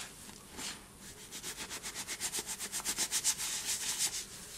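A hand scoops loose white cornstarch and gym chalk powder from a bowl, letting it sift and pour through the fingers while the fingers rub through the powder. The sound is a soft, bright, hissing rub that settles into quick, fairly steady swishing strokes, growing louder through the middle before easing off.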